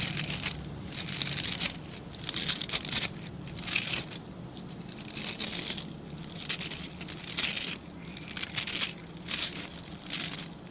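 Fingertips and nails scratch through the dense, dark synthetic bristles of a hand-sized scrub brush with a plastic back. The result is a bright, crackly, crinkling scratch that comes in repeated swells and fades with almost no low end.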